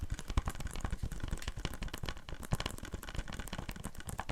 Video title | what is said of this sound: ASMR Blu-ray movie collection. Whispering and tapping | I don't think it makes that great tapping sounds cuz there's a little bit that kind of gives it a bit of ring to it